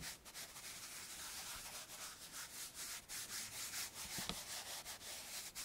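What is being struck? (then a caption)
Chalkboard in wooden frame with felt eraser. A hand presses a blue felt eraser against a flat, dark, roughly A3 chalkboard in a wooden frame and rubs it back and forth across the surface. The result is a steady, bright, airy scrubbing hiss with very little low end, swelling and dipping with each stroke.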